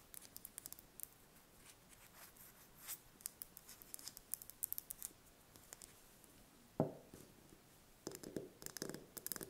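A small whole brown hen's egg held in the hands is tapped and scratched with long painted fingernails. Quiet, rapid, bright clicking and scratching runs throughout, with a louder, fuller tap with a short low body partway through and a cluster of firmer taps near the end.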